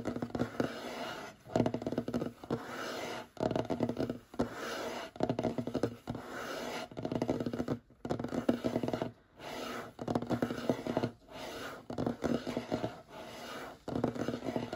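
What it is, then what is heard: Wooden tabletop. Short fingernails of both hands, held side by side, scratch and tap across a large, solid, light wooden tabletop. Bursts of dry, rasping scratches with quick taps alternate with brief pauses. The sound is mid-toned with little low end and almost no ring.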